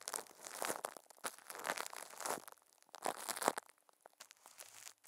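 Thin clear plastic film wrapped around a microphone head is crumpled and rubbed by a puppet's furry hands. Close, dry crinkling and crackling comes in uneven bursts with brief quiet gaps. The sound is bright, with almost no low end.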